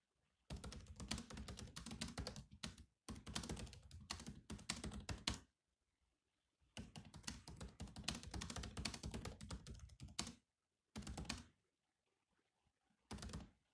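Fingertips of both hands type on the black plastic keys of a grey laptop keyboard. Rapid runs of short, dry clacks, each a low thud with a bright click, come in bursts separated by brief pauses. The clip ends with two short flurries.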